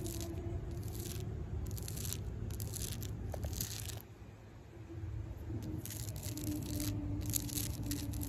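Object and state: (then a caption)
Tree bark being scratched. Long pink acrylic nails scratch and rake the rough bark of a solid tree trunk. Bright, crackly scraping bursts come in uneven strokes over a steady low hum, with a brief quieter pause midway before the raking resumes.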